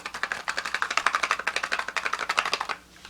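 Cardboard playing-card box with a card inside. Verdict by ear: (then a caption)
Full. A Joker playing card sits inside a closed cardboard card box, put in flap side down, and the box is shaken. About 28 quick, dry rattling taps of the card against the box come in a fast burst for roughly 2.7 seconds, then stop. The rattle shows the box is not empty.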